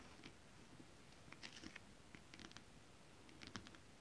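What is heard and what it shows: Long acrylic nails scratch and tap on flat holographic mermaid scale-print fabric. Quiet, brief bright ticks and scratchy clicks come in small clusters over a soft, steady low background hiss. Each tap dies away almost instantly.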